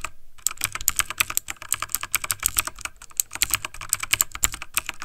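Fingertips of both hands type fast on a backlit plastic mechanical computer keyboard, producing a dense, continuous run of rapid key taps. Each click is short, dry and bright, with a high clack, little low end and almost no ring.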